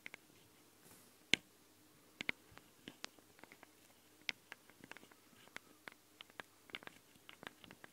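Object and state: Metal microphone capsules of a handheld recorder.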